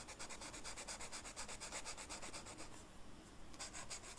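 The felt tip of a blue marker rubs across a flat black velvet-flocked paper coloring sheet in quick, repeated coloring strokes, making a soft, bright, scratchy hiss that pulses with each stroke. The strokes thin out and go quiet for a moment around three seconds in, then resume with the same brisk rhythm.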